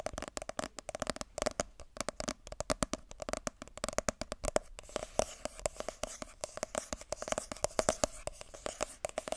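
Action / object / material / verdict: tap / cardboard phone box / cardboard / none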